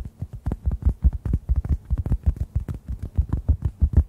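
A hand-sized, solid yellow-orange synthetic foam sponge is tapped with fingertips near the microphones, producing about 26 soft, deep, muffled thumps in a quick, steady rhythm. Each tap is short and dull with almost no ring, sitting low around 74 Hz with no bright top.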